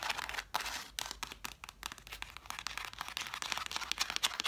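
Long black nails tap and scratch across the covers and spines of a stack of red cloth-bound hardcover books. Quick, dry ticks blend with bright, papery scratching, with almost no low end and no ring after each touch. The rapid, uneven strokes run without pause for the whole clip.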